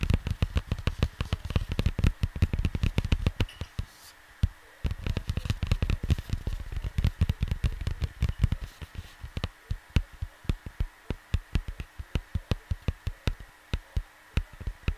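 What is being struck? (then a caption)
Cardboard LP record sleeve. Fingertips and short nails tap and lightly scratch the surface of a large, flat, square cardboard vinyl LP cover, dark blue printed, lying on a desk close to the microphone. Many quick, dull, low thuds with almost no ring come in dense bursts at first, then thin out into a steadier, more spaced rhythm of taps over a faint background hum.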